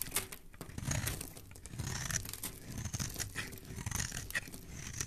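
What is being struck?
Bar of soap shaved with a metal blade.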